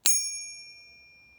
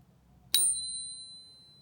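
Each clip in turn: First: A single bright ping with clear high tones that ring on steadily, the sound of a genuine silver bar. Second: A single bright ping with high clear tones ringing over a second; a fake silver bar that sounds convincingly coin-like.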